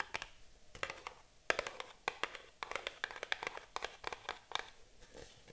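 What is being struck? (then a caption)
Small cardboard box. A small printed cardboard box is held and turned in the hands while long nails tap and scratch its sides. Quick, dry, bright clicks and short scratchy strokes come in uneven bursts with almost no ring and very little low end.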